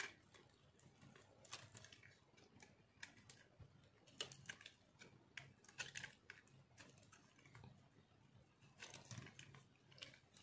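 A metal knife shaves crunchy flakes off a solid white chunk of dry soap held in one hand. The result is a quiet run of crisp, bright scrapes and crunches in short bursts, with little low end and almost no ring after each stroke.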